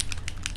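A plastic bottle of patina paint is shaken to mix the paint, and the agitator ball inside rattles in quick, short clicks over a low steady hum. The rattle is normal.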